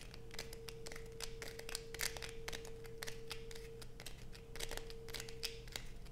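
Long acrylic nails scratch quickly across a solid blue bar of soap held in the hands, producing a dense run of short, bright, crackly scrapes. A steady low hum and a faint tone near 450 Hz sit underneath throughout.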